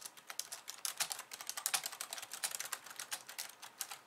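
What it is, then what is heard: Plastic computer keyboard being typed on. Long nails type fast with both hands on a pink plastic slim keyboard with white keys, producing a rapid, uneven run of light, bright clicky taps. Each tap is crisp and dies away almost instantly, with no low-end thump beneath the quick keystrokes.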